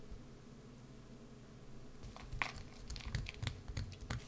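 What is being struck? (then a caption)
Bar of soap. A wood-handled carving gouge carves and scrapes a solid green bar of soap held in one hand, with the shavings piling onto a dark mat. After about two seconds of quiet low hum, a run of crisp, dry scraping and crackling cuts begins, each one short and bright with no ring.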